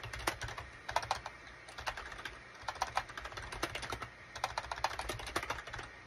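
Fingertips of both hands type rapidly on a gray SHIPADOO K600 full-size wired USB keyboard with a gray plastic case and cream, gray and orange plastic keycaps. A dense, uneven stream of short, bright plastic clicks and clacks carries through, each tap dying away almost instantly, with occasional louder keystrokes standing out over a faint low hum.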